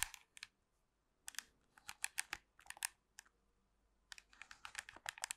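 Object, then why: Plastic TV remote control. Long pink nails tap and scratch a hollow black plastic TV remote control close to the microphone, making quick, dry, bright clicks and scrapes. The taps come in clusters with short quiet gaps between them, each sharp with almost no ring.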